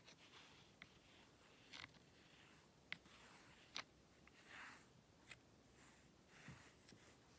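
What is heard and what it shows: A small wooden rake drags through fine white sand in a shallow hexagonal black zen garden tray, scratching and combing it. Soft, bright, gritty scrapes come in about seven short, irregular strokes over a quiet hiss.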